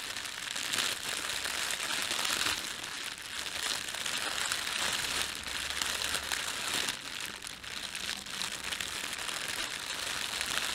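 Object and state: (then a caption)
Plastic bread bag. Fingertips rub and crumple a thin, empty, red printed plastic bread bag. A steady, bright crinkling runs throughout, with almost no low end and small swells in loudness as the film is worked.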